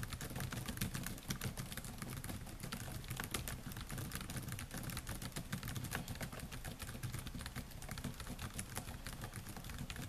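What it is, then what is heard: Laptop keyboard with plastic keys. Fingertips type steadily on the black plastic keys of a silver laptop, producing a rapid, continuous stream of short, bright clicks and taps. A low, steady rumble sits underneath the keystrokes throughout.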